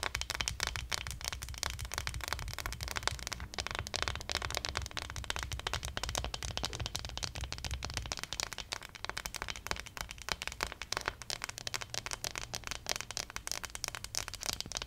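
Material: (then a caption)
Plastic. Long nails rapidly tap and scratch the back of a small, likely hollow plastic acupuncture model doll printed with points. The result is a dense, bright, crackly stream of sharp clicks and scrapes. A low rumble sits underneath that thins out after about eight seconds.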